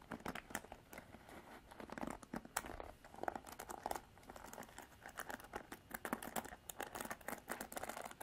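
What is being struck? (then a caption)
Plastic paddle hairbrush. Long artificial nails scratch the black bristles of a plastic-bodied paddle hairbrush held in both hands. The result is a quiet, rapid stream of crackly, crinkling scratches and tiny clicks, centered in the midrange, each snapping off almost instantly with no ring.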